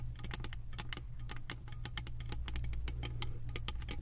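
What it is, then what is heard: Metal candle jar lid tapped with nails. Long acrylic nails tap and scratch a round, embossed metal lid covered in small metal beads on a full candle jar. A quick, uneven run of sharp, bright clicks and light scrapes rises over a steady low hum.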